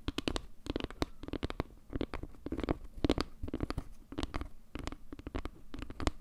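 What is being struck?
Wooden log-slice trivet.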